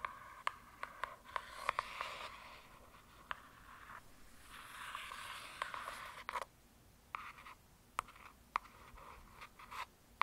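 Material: Laminated cardboard.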